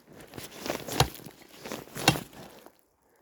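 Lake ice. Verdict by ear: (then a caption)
Solid. Two hard hits strike solid black lake ice on the east side of Lake Couchiching after a heavy snowfall, each a sharp, dull crack with a low thump. Softer crunching and scraping fill the gaps between them. The ice holds and is judged to be looking good.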